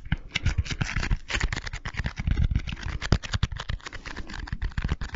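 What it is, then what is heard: Foam bead slime (floam). A small handful of soft, solid pink foam-bead slime (floam) is squeezed, kneaded and pulled apart with the fingers close to the microphone. It makes dense, continuous crunchy popping and crackling with a low, thumpy body and a fizz of brighter clicks on top.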